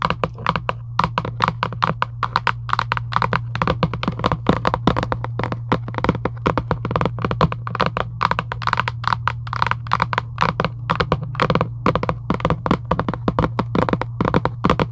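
A hollow Giant UNO cardboard box lying flat is tapped rapidly and continuously with long acrylic nails. The taps are short, dull, hollow knocks with a slight click on top, coming quickly with no pause, over a steady low hum.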